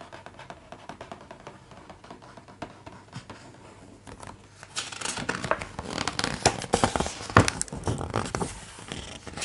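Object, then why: Hardcover art book with thick glossy paper pages. Fingertips tap and trace across the thick glossy pages of a large hardcover art book lying open on a table, making soft, quick clicks and light scratchy rubbing. About halfway through, a page is turned, bringing a louder, brighter papery crinkle and rustle that lasts to the end.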